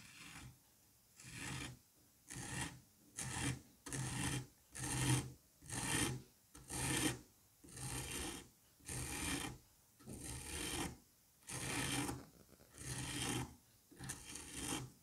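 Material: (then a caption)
Sand. A curette scrapes and rasps the surface of a solid dome of green kinetic sand held by a finger. Fourteen separate gritty strokes sound in a steady rhythm, each a dry, grainy rasp with a low rumble and bright hiss, and short quiet gaps between them.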